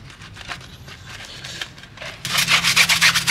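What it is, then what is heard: Steel car wheel being brushed. A gloved hand scrubs a small round brush over the face of a heavily foamed pressed-steel wheel on a 1993 Honda Civic Hatchback, working around the lug nuts and vent holes. Soft, quick back-and-forth rubbing strokes turn into louder, brighter, hissy scrubbing about two-thirds of the way through, with a steady rhythm of about four strokes per second.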